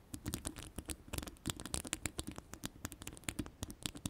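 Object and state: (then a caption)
Metal microphone mesh grille. Long pastel ombre acrylic nails scratch and tap rapidly on the round, hollow, woven metal mesh grille of an uncovered microphone. The result is a quick, dense patter of dry, bright metallic ticks and scratchy scrapes over a soft low thump, with each tap dying away almost instantly.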